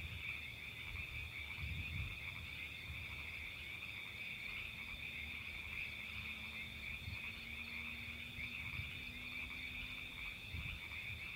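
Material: Nothing is struck.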